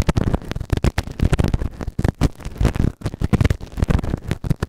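A white plastic spatula scratches and rubs inside the canal of a grey silicone ear microphone, a soft, solid ear model on a round base. Rapid, close scraping and rubbing bursts follow one another with short gaps, sounding muffled and heavy in the low end with very little brightness.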